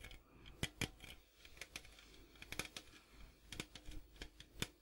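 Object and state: Metal popcorn tin.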